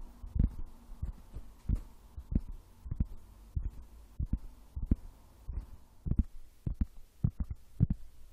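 Wood is tapped in a steady, uneven series of soft, dull, low thumps that sound almost like a heartbeat. Each tap stops almost at once, with a faint steady hum underneath.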